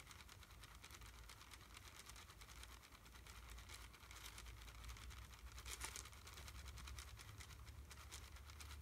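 A small red plastic wrapper around a single candy is held up in one hand and squeezed and crinkled with the fingertips. Dense, bright crackling runs steadily over a low, constant hum. It grows a little louder partway through and peaks in a sharper burst of crinkles near the end.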